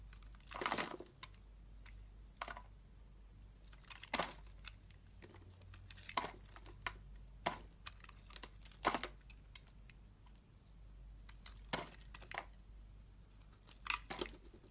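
A solid red-and-white striped bar of soap, held in the hand, is carved into flakes with a metal utility knife blade. Irregular bursts of crisp, crackly scraping flare up bright and broadband over a faint steady low hum, each cut ending almost instantly with quiet gaps between.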